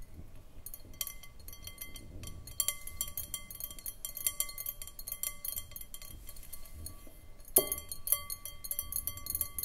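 Long nails tap rapidly on the sides of an empty, hollow, clear round glass bowl on a short foot. The taps make a steady stream of quick, bright glassy clinks with short, tonal rings, over a soft low rumble. A louder, sharper clink stands out near the end.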